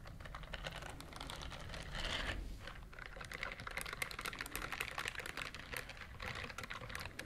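Long nails scratch rapidly across the bristle nubs of a pink silicone dishwashing glove, which is worn on one hand and held up close to the microphone. The result is a dense, continuous stream of fast, dry clicks and scratches, bright and crisp in the upper range over a low rumble, with a slightly louder burst around two seconds in.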